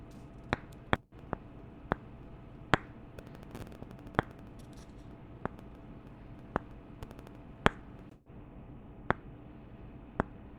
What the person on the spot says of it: 4:49-10:33 Tapping two wooden candle tops together